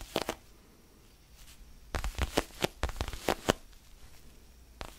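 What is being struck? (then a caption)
Foam stress ball. Fingertips scratch and rub a small, solid orange foam basketball stress ball held in the hands. Short, dry, scratchy bursts spread from low rumble up to bright hiss, with quiet gaps between them. They cluster in a busy stretch in the middle and then fade back to soft rubbing.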